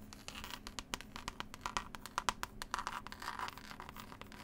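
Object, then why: Cloth-covered hardcover book. Long pointed nails scratch and tap the green textured cloth cover of a solid, closed hardback book with a pasted illustrated label. The result is a quiet, dry, continuous scratching texture broken by a rapid series of sharp, short taps. The taps have a bright, crisp edge, a tone centred near 1 kHz, and almost no ring.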